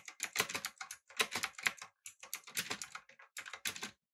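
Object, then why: Mechanical keyboard with metal frame and plastic keycaps. A full-size backlit typewriter-style mechanical keyboard with blue switches, an aluminum frame and round plastic keycaps is typed on rapidly with the fingertips of both hands. Quick bursts of crisp, bright, clicky keystrokes with very short ring run in clusters, broken by brief pauses.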